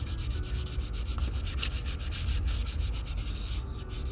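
A small square of sandpaper held under the fingertips sands the toe of a worn leather Red Wing Pecos 9801 cowboy boot. Quick, steady back-and-forth scratchy strokes carry a bright hiss over a constant low rumble.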